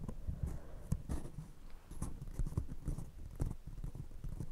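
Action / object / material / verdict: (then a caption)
tap / paper coffee cup / paper / none. Long nails on one hand tap an empty, hollow brown paper coffee cup held over a fluffy microphone, while a second cup sits untouched. A quick, uneven series of dull, muffled taps is heard, each with a very short decay. The result is deep, bassy thumps with almost no bright or high content.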